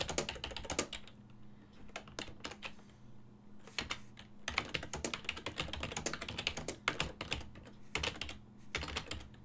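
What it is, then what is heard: Plastic computer keyboard. Fingertips with short nails type rapidly on a full-size silver-and-black plastic desktop keyboard with hollow key switches, resting on a wooden desk. Bursts of quick, bright, hollow clicks come in clusters separated by short pauses, each tap dying away almost instantly. A faint steady low hum runs underneath throughout.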